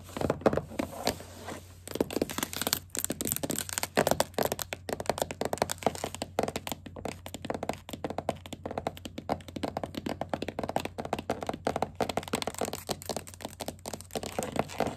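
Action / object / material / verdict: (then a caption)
tap / wooden tabletop tapped with plastic fingertip caps and acrylic nails / wood / none. Both hands tap fast across a flat, solid wooden tabletop: one hand wears green plastic witch-finger caps with pointed tips, and the other has long black acrylic nails decorated with googly eyes. The result is a dense, continuous stream of short, dry clicks and thunks centered around 450 Hz. Each tap dies away almost instantly over a faint, steady low hum.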